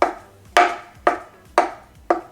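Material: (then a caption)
Paper. An empty takeaway coffee cup is set down on a surface five times, each placement giving a short, hollow knock with a mid-range tone around 700 Hz that fades within a fraction of a second. It sounds hollow because the cup's weight sits on the outside, with nothing in the center to weigh it down.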